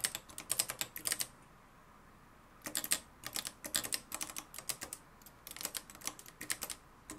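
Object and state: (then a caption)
Manual typewriter being typed on. Fingertips type on the dark plastic keys of a mustard-yellow, plastic-cased manual typewriter with a metal mechanism. Sharp, bright clacks come in a quick run, then a roughly one-second pause, then a longer stretch of steady typing. Each keystroke is crisp and dies away almost instantly, with very little low end.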